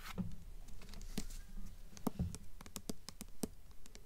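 Long nails scratch and tap the glossy paper dust jacket on the front cover of a "Beautiful Darkness" hardcover book held upright. Quiet, irregular, dull taps with short bright clicks rise above a soft, steady scratching rustle, and each tap dies away almost at once.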